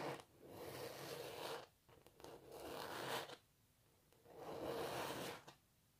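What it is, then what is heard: Canvas painting scratched with nails. Long natural nails scratch across a canvas painting of a cellist, then fingertips rub at its edges. Three long, dry, hissing strokes sweep from low to bright, separated by brief quiet gaps with faint taps.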